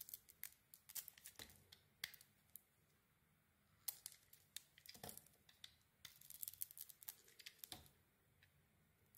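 A metal blade carves a solid red and silver striped bar of soap with a white core. Quiet, crisp, bright scraping and shaving sounds come in quick bursts, with short pauses between clusters of cuts. Each stroke dies away almost at once, with little low end.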